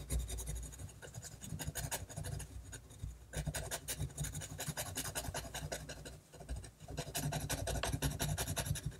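A hand-held fine metal-nib technical pen scratches short hatching strokes across a flat sheet of white drawing paper. It makes a steady run of quick, dry, bright scratches over a low rumble, dipping briefly near the six-second mark before picking up again.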